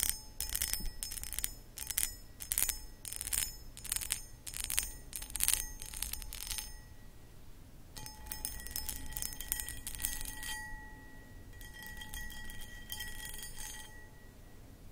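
Long acrylic nails scratch across the textured surface of a hollow, empty, medium-sized cut crystal glass pedestal bowl. Rapid, bright scratching bursts come thick and loud for the first half, then ease briefly. Softer scraping follows, with faint sustained glassy ringing tones lingering underneath.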